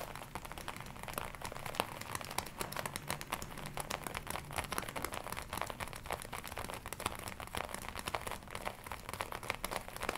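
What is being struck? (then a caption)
Leather jacket. Long nails tap and scratch across the chest of a glossy black leather jacket being worn, making a dense stream of quick, crisp clicks and crinkling rustles. The taps are short and dry with little ring, over a soft low rumble and bright crinkly texture throughout.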